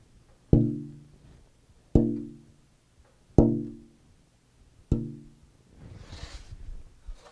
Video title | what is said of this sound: Chapter 9: Back Brace Shaping & Voicing To Unlock Acoustic Tone! | there's a big punch as I tap it, and then a release as that goes down